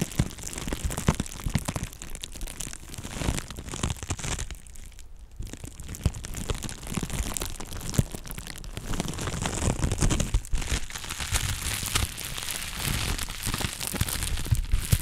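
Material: Plastic.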